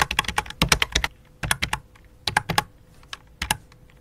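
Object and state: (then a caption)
Plastic computer keyboard being typed on. Long dark fingernails tap the letter keys of a full-size white and light-blue plastic computer keyboard resting on black cloth, then one hand moves over to the numeric keypad. Quick bursts of short, bright plastic clicks are separated by brief pauses, each tap dying away almost instantly, with a faint steady hum underneath.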